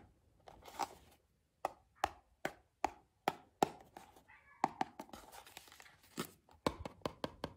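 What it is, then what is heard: Cardboard box tapped with fingernails. A fingertip and long painted nails tap and rub the flat side of a small, closed, printed purple cardboard Kuromi Party blind box holding a figure, held in both hands. Crisp, dry taps with almost no ring stand out against softer scratchy rubbing, centered in the midrange around 800 Hz. The taps come in an uneven rhythm, sparse at first and denser toward the end.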